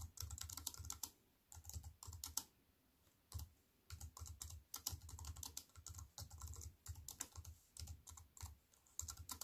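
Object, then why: Plastic keyboard with metal frame. Fast typing with fingertips and long white nails on a compact wireless keyboard with black plastic keys in a thin silver aluminium frame, resting on a wooden table. Quick bursts of sharp, bright plastic clicks with a soft low thump under each keystroke are broken by a few brief pauses. Each tap dies away almost instantly.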